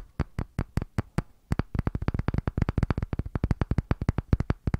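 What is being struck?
Thick round wooden disc.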